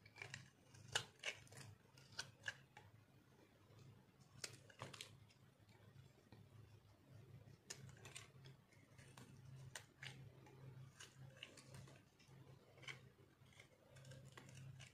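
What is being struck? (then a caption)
Bar of soap cut with a metal blade. A metal cutter slices and scrapes brittle pieces off a solid, dried orange soap bar held in the hand. Crisp, bright crunches and sharp scraping clicks come in quick bursts, louder near the start, over a steady low hum.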